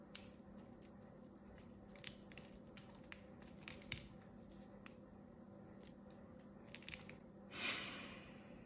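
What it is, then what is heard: Bar of soap being scraped. A small blade scrapes thin shavings off a solid cream-colored bar of soap with an embossed pattern. Soft, dry scraping and crisp little cuts are heard over a faint steady hum. Near the end, a louder, longer swell of bright, breathy scraping rises and then fades.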